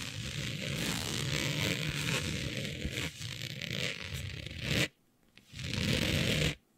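Long nails scratch a smooth synthetic fabric with a planet print laid flat. A dense, continuous scratching rasp spans low and bright tones for about five seconds, stops briefly, then returns in a second burst before cutting off.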